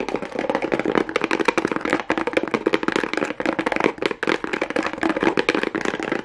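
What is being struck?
Small cardboard box wrapped in plastic rhinestone strip.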